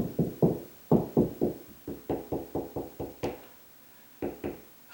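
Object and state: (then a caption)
Solid ceiling over joist. Knocking along a drywall ceiling produces more than a dozen short, dull knocks in quick runs, ending with a pause and two final knocks. The later knocks sound higher-pitched and more solid than the first, hollow-sounding ones. This indicates a wood ceiling joist behind that spot.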